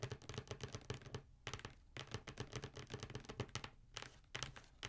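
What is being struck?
Cardboard shoe box.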